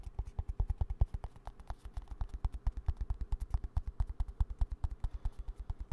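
A small green plastic hand cream squeeze tube, held upright close to the mic, is tapped rapidly with fingertips and nails. Around fifty quick, dry, low thumping taps follow in an uneven, steady stream, each dying away almost at once.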